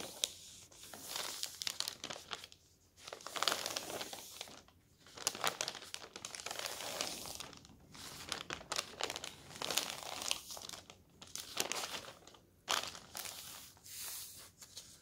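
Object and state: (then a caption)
Newspaper being rubbed and crumpled. A folded paper newspaper lies flat on a table while open palms rub and smooth over its surface. Bright, dry crinkling and rustling come in uneven bursts separated by brief quiet gaps, with almost no low-end body.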